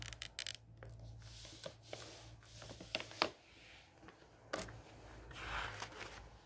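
A flat hand rubs and smooths the white paper pages of a large, open hardcover book, then fingertips lift and turn the pages. Soft, bright papery rustles and brushing swells are broken by several short, crisp crackles and flicks as pages move. A faint low hum runs steadily underneath.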